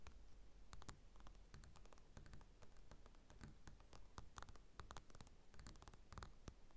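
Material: Paper.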